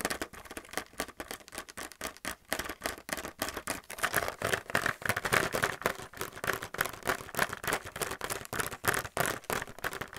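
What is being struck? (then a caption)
Plastic paint palettes in a clear plastic blister pack. A fingernail taps rapidly on a handheld plastic paint palette in its blister packaging, striking the hollow clear plastic blister over the white palettes. The result is a fast, uneven stream of short, bright clicks with a hollow midrange tone around 620 Hz. Each tap dies away almost at once, with little low end.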